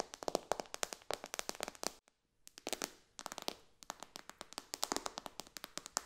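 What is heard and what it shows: Long dark nails fast-tap and lightly scratch the glass touchscreen of a white iPad lying flat on a cushion, using both hands. Rapid, dry, bright clicks come in quick clusters with faint scratchy texture between them. A brief silent pause falls around the two-second mark before the tapping resumes.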